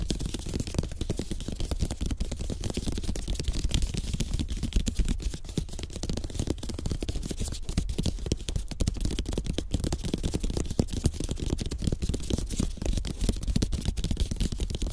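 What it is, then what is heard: Bamboo placemat. Fingertips and short nails of both hands tap rapidly on a flat, thin, solid slatted bamboo placemat. The result is a dense, continuous stream of short, dry clicks, each ending almost instantly, with a soft low thud beneath bright ticking edges.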